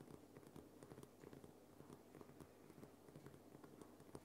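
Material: Rock salt.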